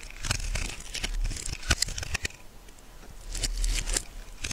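A metal knife carves flakes from a solid purple bar of soap, making dry scraping and cutting sounds. Crisp, crinkly strokes come in quick bursts with bright high edges over a low rumble, fading into a quieter stretch before another run of scraping.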